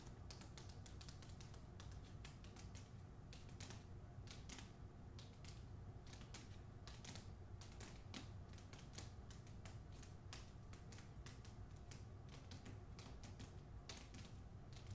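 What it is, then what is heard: Hardcover book with paper dust jacket. Long nails tap rapidly on the front cover of a hardcover novel with a paper dust jacket, in fast, typewriter-like bursts. The dense, sharp clicks carry bright tops and die away almost instantly, over a steady low rumble at a quiet level.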